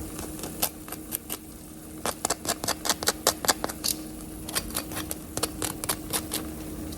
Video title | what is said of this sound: EXTRA Crispy Chicken Wings, TWO Ways (NO flour, NO oil, NO batter, NO breadcrumbs) quick and easy! | Listen how crispy that is.